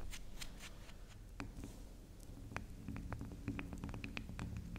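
Long acrylic nails scratch and tap the top of a small, round, solid pink spiral soap that is soft. Soft, brushy scratching comes first, then a quick, irregular run of short, crisp taps with bright clicks over a steady low hum.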